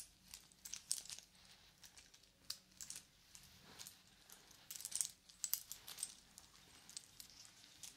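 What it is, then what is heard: Wooden watch band links rattling. A small, solid segmented wooden link watch band is held up and dangled between the hands, then shaken and worked with fingers, some wearing yellow plastic claw caps, so the links rattle against each other. Quiet bursts of dry, bright clicking and clattering come in uneven clusters, each tick dying away almost instantly, with almost no low end.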